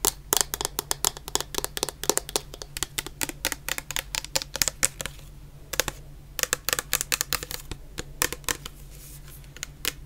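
A medium clear plastic bottle full of orange shower gel has its bottom and sides tapped with long nails, producing rapid, crisp clicking taps with a bright, dry character. The taps come in fast bursts with a brief pause around the middle, over a faint steady low hum.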